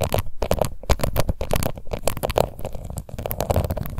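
Long nails scratch across the embossed lid of a small round pink plastic face powder compact. The result is a dense run of quick, crackly scratches with a heavy, rumbling low end and little brightness, each stroke cutting off almost instantly.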